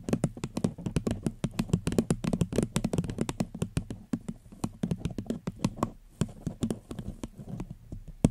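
A paper cup is gently tapped with the fingers on the microphone. Rapid, soft, dull taps with a low, hollow body and almost no ring follow each other in an uneven patter. The tapping pauses briefly near the six-second mark.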